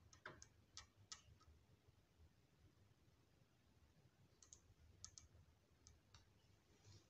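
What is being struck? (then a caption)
Glass dropper and small glass bottle. A glass dropper pipette from a small clear glass bottle of orange serum is dipped, tapped and clicked against the bottle rim while fingertips squeeze its rubber bulb. Sharp, bright glassy clicks come in two loose clusters, near the start and again in the second half, each dying away almost instantly. A quiet low background hum runs underneath throughout.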